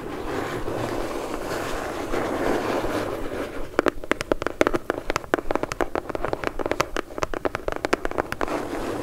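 A medium brown corrugated cardboard shipping box, closed and held upright in both hands, is worked on its underside and bottom edge by long acrylic nails. For the first few seconds there is a steady, rough, papery scratching. After that comes a quick, irregular run of sharp, dry taps with bright clicky tops, each dying away almost at once.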